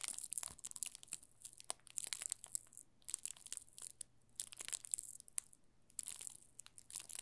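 A yellow solid bar of soap wrapped in thin clear plastic film is held at an angle in both hands while fingertips squeeze and rub the film. This makes soft, bright crinkling and crackling in quick irregular bursts, with brief quieter pauses between clusters. A faint low steady hum sits underneath.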